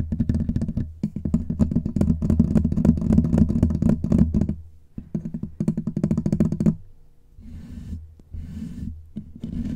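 Fingertips and short nails scratch and rub the bare, rounded metal mesh grille of a large black USB condenser microphone with a hollow head, gripped in both hands. Dense, rapid scratching and rubbing booms heavily in the low end, with brief quieter gaps before softer, hissier rubbing returns near the end.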